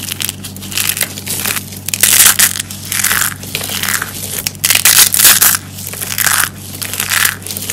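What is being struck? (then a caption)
Pile of soap shavings and curls. Both hands with long grey nails grab and crush handfuls of dry yellow soap curls and flakes from a pile. Dense, bright crunching and crackling come in repeated surges, rising and falling as each handful is squeezed, over a faint steady low hum.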